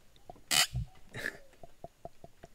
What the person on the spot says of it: Kind of feel bad tapping him on the head, but it is a satisfying sound.